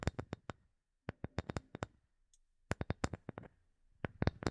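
Fingernails tap and scratch a small, solid, rectangular block of light wood, producing quick, dry, dull clicks with almost no ring. The taps come in bursts separated by brief silences.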